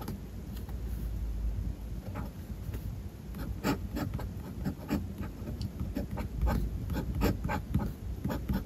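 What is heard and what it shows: A metal fountain pen nib scratches across the white paper page of a spiral notebook while writing lines of Japanese text. The soft, low rumbling scratch is broken by short bright ticks and flicks as the strokes are formed, growing slightly more pronounced toward the end.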